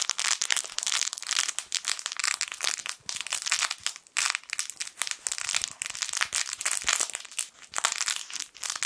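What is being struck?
Fabric crinkle toy with crinkly lining.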